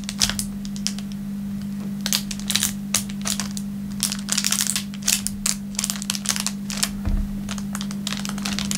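A thin, clear plastic film wrapper lying on a wooden table is pressed, rubbed and crinkled with the fingertips. Dense bursts of bright, sharp crackles come and go over a steady low hum near 200 Hz.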